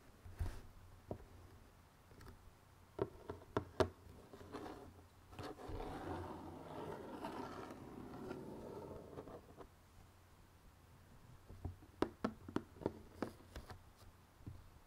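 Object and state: Cardboard jigsaw puzzle box.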